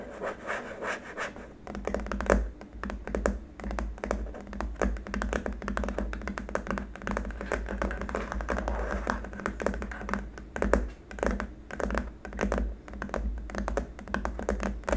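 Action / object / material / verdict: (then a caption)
tap / hard-plastic keyboard wrist rest / plastic / none. Short fingernails of both hands scratch and tap across the top of a long, flat, solid white hard-plastic keyboard wrist rest. Quick clicky taps and dry scratching run steadily throughout over a low hum, with the sound mostly low and dull and very little high brightness. Each tap dies away almost at once.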